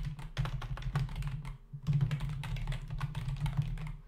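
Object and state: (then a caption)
Plastic computer keyboard. Fingertips of both hands type fast on a black, full-size plastic membrane computer keyboard with hollow keys, resting on a desk. A rapid stream of short, dull clicking taps sits over a low, steady hum, with a brief pause partway through before the typing resumes.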